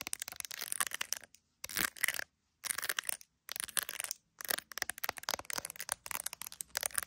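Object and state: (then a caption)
Smartphone in a clear plastic case. An iPhone in a clear plastic case with resin gummy bears is tapped and scratched with long nails on the camera bump and case. Dense, bright clicking and scratchy ticks come in bursts separated by short silences, with almost no low end and no ringing.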